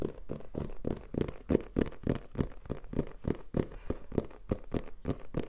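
A black printed Tascam cardboard box, held in hand, is tapped rapidly with fingertips and nails. The result is a fast run of dull, papery knocks, low-bodied with little brightness and each one dying away almost at once.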